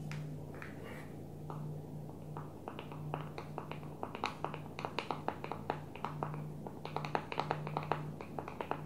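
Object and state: Smartphone with plastic back, tapped.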